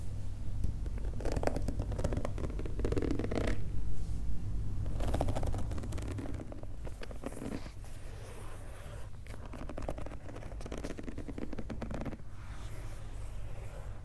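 The pink rubber outsole of a Nike Dunk sneaker is held up and scratched and tapped with fingernails. Dense, rapid scratching and tapping comes in bursts over a low, steady rumble. It is loudest in the first half and grows quieter toward the end.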